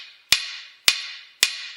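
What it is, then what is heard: Cast iron anvil with steel face, dull sound. A hammer strikes a cast iron anvil with a steel face plate three times, with no chain or magnet damping it. Each hit is a sharp, bright tap that dies away within a fraction of a second, centered around 2.5 kHz with almost no low end. The anvil sounds very dull and makes almost no noise, unlike an all-steel anvil, which rings like a bell.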